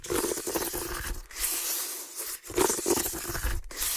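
Fingertips and nails scratch the side and bottom of a medium woven water hyacinth basket, which is hollow and empty. Dry, crackling scrapes and bright rustling come in several continuous bursts with brief pauses between them. A faint hollow resonance rings beneath the texture.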